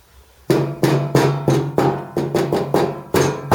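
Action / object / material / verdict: tap / steel van scuttle panel / steel / tinny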